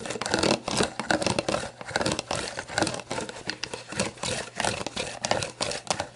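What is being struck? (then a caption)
Plastic drink bottle. Long black nails tap and scratch the label of an empty, hollow, clear plastic sports drink bottle lying on its side. Rapid, dry bursts of crinkly scratching and light tapping come in uneven clusters, with a bright, papery texture and very little low end. Each stroke dies away almost at once.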